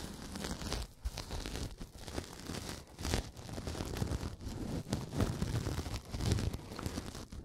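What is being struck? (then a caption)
Synthetic foam kitchen sponge. A pink, porous synthetic kitchen sponge is bent and squeezed by the fingertips of both hands close to the microphone. It gives a steady run of crinkly, crackling scrunches with a soft, heavy low thump under the brighter rustle, briefly pausing between squeezes.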